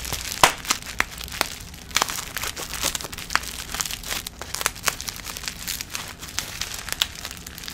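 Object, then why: Plastic bubble wrap packet. A small plastic bubble-wrap package with a skincare item inside is held in both hands close to the mic while long nails and fingertips squeeze and crinkle it. The result is a steady, bright rustling crinkle broken by frequent sharp crackles and snaps.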